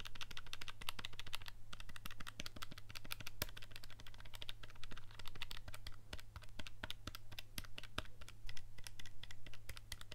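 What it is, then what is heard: Plastic calculator buttons being pressed. A handheld black plastic scientific calculator with a hollow casing is held in one hand while the fingertips of the other hand press and click its buttons rapidly. Dense, quick, sharp clicks with bright, short-lived ticks sit over a steady low hum for the whole clip.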